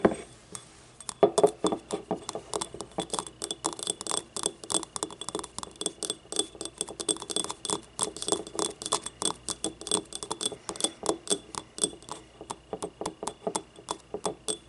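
Long nails tap and scratch the ribbed side of a small, hollow, yellow glazed ceramic ramekin used as a paint cup, tilted on a table. A rapid, steady run of short, bright clinks and ticks with a mid ringing tone rises over a faint scratching hiss, each hit dying away almost instantly.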